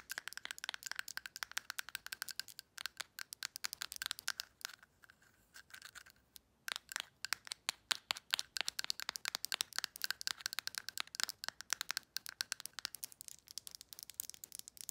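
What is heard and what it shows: Long nails rapidly tap and scratch a small, hollow, dark amber glass supplement bottle that holds powder, with a paper label and a black plastic screw lid. The result is a dense stream of sharp, bright clicks and scratchy ticks with a glassy ring around 1.5 kHz, interrupted by a brief quieter pause near the middle.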